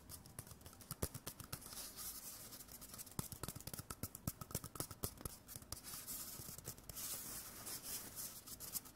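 A small, hollow, empty white cardboard toilet paper core held in the hand is tapped, rubbed and scratched with fingers and nails. Quiet, dry taps with dull low thumps mix with a bright, papery scratching hiss. Each tap dies away almost instantly.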